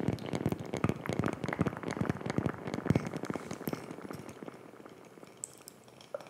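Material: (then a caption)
Wood. Long fingernails scratch and tap a round, flat, palm-sized disc of solid light wood with a laser-etched design. A dense, crackly run of quick dry clicks and scratchy rustles comes first, then it thins and quietens into a few sparse taps near the end.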